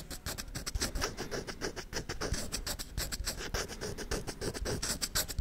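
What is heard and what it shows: Fingernails scratch a hollow wooden folding chess board held sideways, working along its checkered face and edges. Rapid, uneven strokes produce a bright, dry scratching hiss over a low, hollow body resonance, with each stroke dying away almost instantly.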